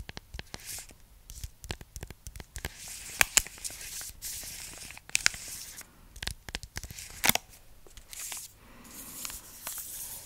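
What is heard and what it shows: Long nails scratch and crinkle the paper-and-foil wrapper of a large, flat, full Milka chocolate bar with the solid bar inside. The result is a rapid run of bright, dry crinkling and tearing-like scratches, punctuated by sharp clicks. Each sound cuts off almost instantly, with little low-end body.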